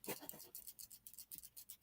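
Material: Plastic.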